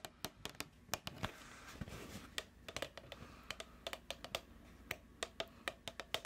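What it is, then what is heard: Plastic food tub. Long nails tap a medium plastic food tub with a printed label, giving about 27 sharp, dry clicks with almost no ring. The taps come at an uneven, unhurried pace, with a soft scratchy rustle between them in the early part.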